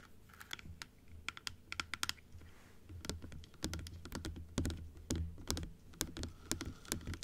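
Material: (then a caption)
Plastic. Long acrylic nails tap on a plastic dental teeth model, striking the plastic teeth and the rim after the model is closed and then opened. The result is a steady stream of short, bright clicking taps with an irregular rhythm over a low, constant hum.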